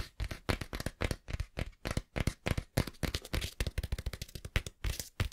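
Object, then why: Cloth-bound hardcover book. Fingertips scratch and tap on the cover and page edges of a small, closed, green cloth-covered hardback book. Rapid, irregular, dry taps with little ring mix with soft scratching, and the sound is mostly low and thumpy with a faint bright rustle.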